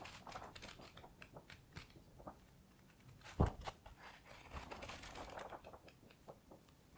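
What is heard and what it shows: Fingers quickly riffle and flip the paper pages of a thick paperback book held in the hands. Soft, crisp flicks and papery rustles follow one another closely, with one louder flap of a page near the middle before the quick riffling continues and fades.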